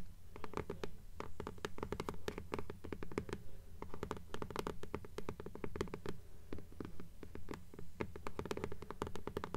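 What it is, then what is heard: Paper-covered hardcover book scratched with nails. Long nails scratch the paper dust jacket of a blue hardcover "Fairies" book held upright in both hands. Rapid, irregular scratchy strokes follow one another with short, dry decays over a steady low rumble, with a faint tonal hum near 400 Hz.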